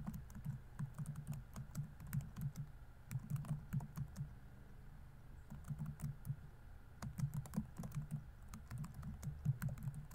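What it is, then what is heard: Plastic laptop keyboard. Fingertips type fast and densely on a laptop keyboard with plastic keys. Soft, low, thumpy key clicks with faint bright ticks come in quick bursts, each dying away almost instantly. The typing eases briefly midway before picking back up.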